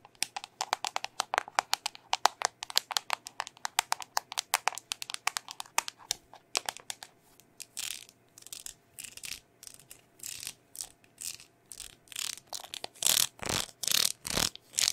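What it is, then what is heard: Plastic bubble-gum tape container tapped and scratched with nails. Long nails tap and scratch a small, round, hollow red plastic Hubba Bubba tape container. For the first half, rapid, sharp, bright clicking taps come in an uneven rhythm. After that, longer raspy scratching strokes take over, growing louder and more hissy toward the end.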